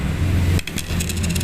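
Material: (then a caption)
Neodymium. A fake neodymium magnet, sold as N52 but not actually N52 and still shiny, is dropped onto a surface and gives a short, dull clattering rattle over a steady low hum. It is judged fake and likely really N35, since it was weaker in an earlier lifting test.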